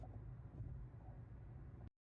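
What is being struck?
Nothing is struck.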